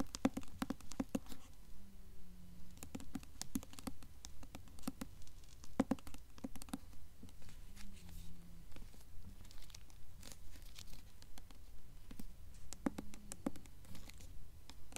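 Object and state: Hardcover book tapped and scratched with fingernails.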